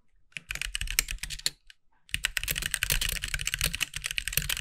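Both hands type with their fingertips on a compact backlit mechanical keyboard with white plastic keycaps. A first burst of rapid, bright clacks with a low thump under each press stops briefly, then a second, denser flurry of quick keystrokes runs to the end.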